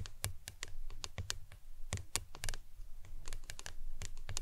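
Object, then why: Plastic tumbler cup. A tall, printed, hollow plastic lemonade tumbler cup with a green lid, appearing empty, is turned upside down with its lid resting on a towel and tapped with long acrylic nails. Quick, irregular taps sound like keyboard typing: each is a sharp, bright nail click over a dull, low hollow thump around 100 Hz. The taps die away almost instantly, with no ring.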